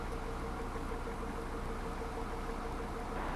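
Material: Nothing is struck.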